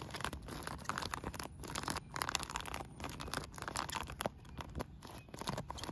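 Long nails scratch and tap a blue polyethylene bubble solar pool cover, a thin sheet of sealed air bubbles. The result is a dense run of dry, crinkly scratches and quick plasticky taps in uneven bursts, with brief quieter gaps between them.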